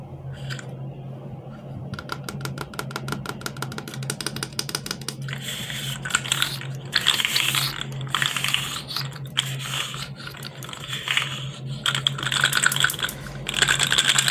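Fingertips press the head of a blue and white segmented hard plastic fidget slug, then bend and twist its body so the jointed segments click. Sparse ticks give way to rapid, dense runs of bright, dry clicks that grow into louder crackling bursts, over a steady low hum.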